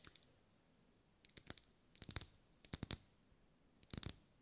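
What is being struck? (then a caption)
Wax pillar candle tapped with fingernails. Long acrylic nails tap on a lit, pink, ribbed, solid wax pillar candle. The quiet, dry, clicky taps come in quick bursts of several strikes each, with bright tops, a soft low thud and almost no ring.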